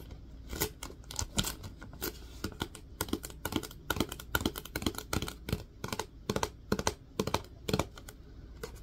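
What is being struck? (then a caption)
Plastic wipes canister. Fingertips tap the lid and sides of a plastic disinfecting wipes canister, making a quick, irregular run of dry, clicky taps. Each tap is short with almost no ring, and some land harder and brighter than others.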